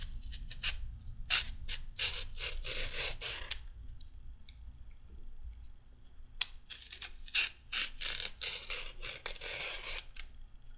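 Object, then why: Raw carrot scraped with a peeler. A raw carrot stub, held in the hands above a pile of peel, is scraped with a pink-handled peeler. It makes quick bright, rasping strokes in two bursts, with a quieter pause in the middle over a low steady rumble.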